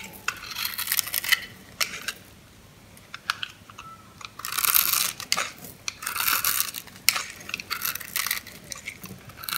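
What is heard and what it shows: A knife blade scrapes and crunches small sticks off a solid orange bar of soap that is scored into a grid and held in the hand. Dry, bright crackling comes in dense bursts with short quiet gaps between them.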